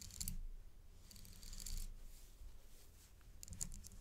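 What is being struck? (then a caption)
Metal paperclip-link chain necklace. A thin metal or dark stick taps the links and pendant of a gold metal paperclip-link chain necklace, stretched on black cloth by gloved hands. Bright, short metallic clinks and jingles come in three clusters, at the start, in the middle and at the end, over a soft low rumble.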